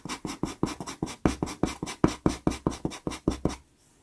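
A wooden pastel pencil rubs and scratches along the lower part of a drawing on a small taped sheet of sanded Pastelmat pastel card. About eighteen quick, dry, gritty strokes follow one another in an uneven rhythm, each a short burst of papery friction. The strokes stop and the clip ends in near-silence.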